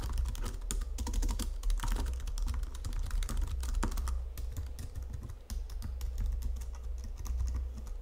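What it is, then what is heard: Plastic computer keyboard. Long-nailed fingertips type on a white plastic Logitech full-size keyboard under red lighting, producing a steady, dense stream of short, dry clicks and key taps. The taps have crisp, bright edges over a constant low hum that fills the background throughout.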